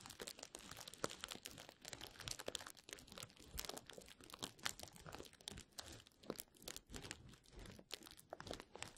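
Clear plastic bubble wrap, rolled into a hollow tube over the microphone, is rubbed and scratched along its length by fingertips. The result is a dense, continuous crinkling and crackling with sharp, bright snaps and a soft rustling underneath.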